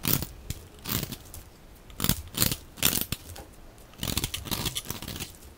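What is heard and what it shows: A metal utility blade scrapes a hand-held, hand-sized bar of dry white-yellow soap with a blue outer rim, shaving off crumbly flakes. The clip is a series of short, rough scraping strokes with a gritty crunch and bright, hissy edges, separated by brief quiet gaps.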